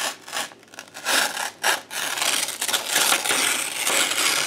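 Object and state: Paper sheet being torn.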